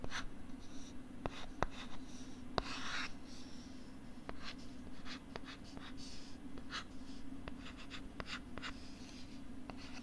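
A stylus scratches and writes across a pink plastic LCD writing tablet held close to the left side of the microphone. Soft, bright scratching strokes come in bursts, with sharp little clicks from the stylus tip over a steady low hum. The level stays quiet and close throughout.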